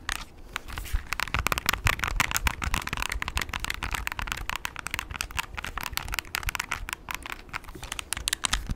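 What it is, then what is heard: Plastic graphing calculator. Short nails tap rapidly on the keys and plastic casing of a handheld plastic graphing calculator with a blue rim and a keypad. The result is a dense run of quick, dry clicks with a bright, crackly edge and almost no ring after each tap.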